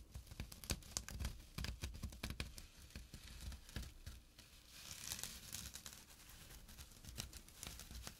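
Fingertips and short nails scratch the coarse weave of a small, flat burlap pouch with a drawstring. The result is a quiet, rapid run of dry, crackly scratches and rustles, with short bright bursts over a low, soft rumble.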